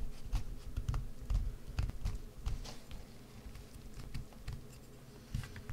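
A wood-handled gouge scrapes and carves into the hollowed face of a solid green bar of soap. Soft, irregular scratching strokes with light bright edges sit over dull, low thumps. Each cut stops short, with almost no ring after it.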